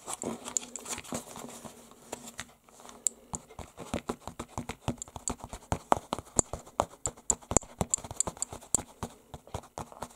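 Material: Canvas.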